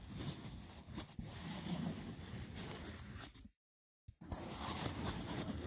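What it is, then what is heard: Woven seagrass wicker box. Fingertips scratch the top of a hollow, braided woven seagrass wicker box and grip its sides, producing a dense, continuous rough rustling with a low, hollow body and a bright, scratchy edge. The scratching drops to complete silence for about half a second, then resumes at the same steady intensity.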